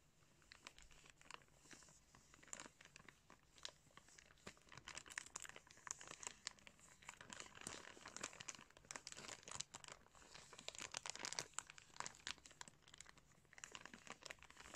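Fingertips scrunch and crinkle a thin clear plastic bag wrapped over a pair of blue sunglasses, up close. The result is a quiet, steady stream of dense, bright crackles and crisp crinkling pops with very little low end.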